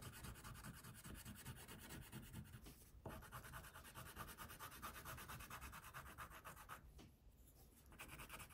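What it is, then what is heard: Paper coloring page. An orange wax crayon held in the fingertips makes scratchy rubbing strokes across a flat white paper coloring sheet. The quiet, steady back-and-forth scratching runs throughout, with brief dips in the strokes near the third and seventh seconds.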